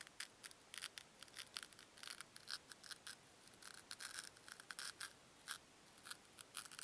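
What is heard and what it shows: Two small, solid white foam cubes are squeezed and rubbed together by fingertips with long nails. The result is a quiet, steady stream of short, bright, crackly squeaks and scratchy rubs over a faint hiss, with almost no low end.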